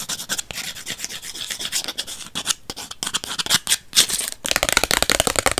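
Long white acrylic nails scratch and rub the edge and face of a small, flat purple Polaroid instant photo with a white frame, made of paper and plastic. Dense, bright, dry scratching and rasping strokes come in quick bursts with brief pauses, then grow faster and busier toward the end.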